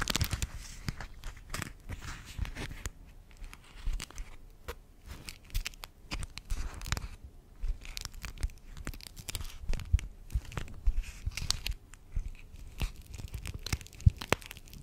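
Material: Plastic.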